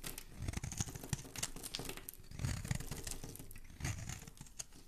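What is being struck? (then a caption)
Soap bar scraped with a metal blade. A metal blade scrapes along the edge of a solid rectangular green bar of soap held in a hand with dark painted nails, shaving off curls. The sound is a steady run of dry, crinkly scraping and crackling with soft low thumps beneath brighter crisp flecks, swelling in short strokes and easing toward the end.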